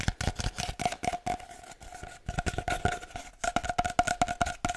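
Fingertips tap rhythmically on a long, hollow, empty cardboard paper towel tube, making quick, dry, drum-like knocks with a hollow tone near 711 Hz. The taps die away almost instantly, with a softer, quieter stretch in the middle before the rapid tapping returns.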